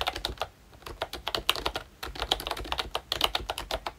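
Fingertips type on a full-size ROYCHE Disney Mickey Mouse retro keyboard, a plastic membrane keyboard with a hollow plastic case and round plastic keycaps. The result is a brisk run of short, bright, clicky taps with a brief pause after the first burst, then a second stretch of steady typing.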